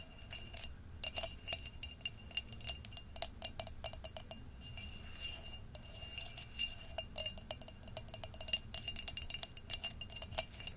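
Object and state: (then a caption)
Glass pumpkin jar, hollow and empty. Long nails tap and scrape the rim and inside of the opening of an empty, hollow orange glass jack-o'-lantern jar with a wire handle. Quick, bright glassy clicks and ticks come in irregular bursts, each dying almost at once, with a faint steady ringing tone and a low rumble underneath.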